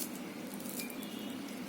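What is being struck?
Nothing is struck.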